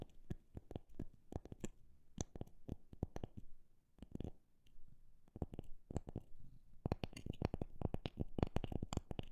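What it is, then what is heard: Wooden object tapped. A wooden object is tapped in an irregular rhythm, alternating sparse taps with quicker runs and ending in a dense flurry. Each tap is a short, dry knock with a low-heavy body and almost no ring, set against quiet background.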